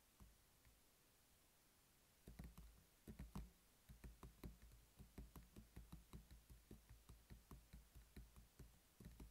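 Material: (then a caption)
Plastic. A closed, hollow black hard plastic pill organizer case lying on a table is tapped with the fingertips and short nails of both hands. A few isolated taps give way to a steady run of dull, low, knocking taps with a brief bright click on top, each dying away quickly.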